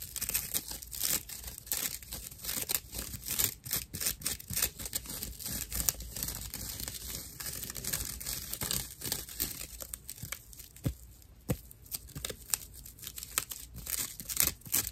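A flat, hand-sized rectangular pad of dried loofah fiber with a white string loop is held in both hands and scratched and squeezed with fingertips and nails. It gives dense, rough, crackling scratches and crinkly tearing-like rasps, mostly bright and high with a faint low rumble underneath. The short, sharp bursts come in a steady, uneven stream throughout.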